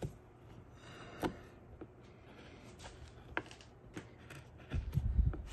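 A small metal prybar-style blade, held in the fingertips, scrapes and scratches wood off a small solid wooden greenman face carving clamped to a plywood board. Quiet, dull scraping is broken by scattered short, sharp ticks and scratches. It builds to a denser, louder run of low, rough scraping at the end.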